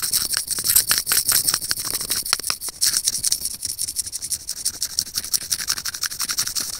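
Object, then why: Small plastic earphone mic remote scratched with steel tweezers. Curved steel tweezers scratch quickly across a small, hollow white plastic earphone mic remote. The result is a rapid run of dozens of short, dry, bright scratches with almost no low end. Each stroke stops almost instantly, leaving a steady hissy, high texture throughout.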